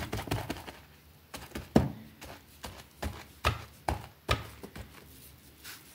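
A white plastic brush scrubs a small, thin, foamy green fabric rug lying on a concrete floor. An irregular series of short, dull scrubbing thuds and brushy swishes comes through, with low-heavy strokes that stop quickly and leave quiet gaps between them.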